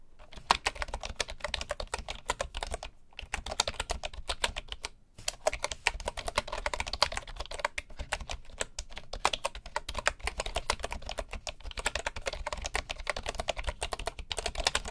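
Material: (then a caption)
Bamboo. Fingertips of both hands type steadily on a full-size bamboo computer keyboard with wooden keycaps and a hollow housing. The result is a dense run of short, dry, woody taps with bright clatter and a soft low thump, broken by two brief pauses near the start.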